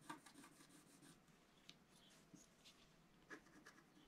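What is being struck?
Coated scratch art paper card scratched with a wooden stylus.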